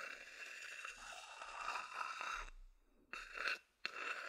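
A medium-sized, hollow, empty wooden bowl is held in the hand and scratched first with the fingers, then with a wooden chopstick. A continuous, bright, dry scratching and scraping fills the first two and a half seconds. After a brief quiet pause, short, sharper scraping bursts follow.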